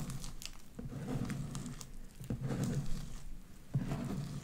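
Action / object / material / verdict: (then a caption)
scrape / sticky slime with small beads / slime / none. Light-blue sticky slime with white beads is stretched wide between two hands into strands. It gives soft, low, wet squelching with faint crinkly popping, and a couple of sharper snaps stand out near the end.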